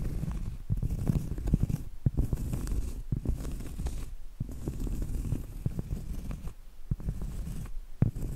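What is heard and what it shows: Medium acrylic nails scratch and tap on a round, flat, solid cork trivet held close. The sound is dense, low and soft, with short dull taps scattered through continuous scratching and brief quiet pauses between bursts.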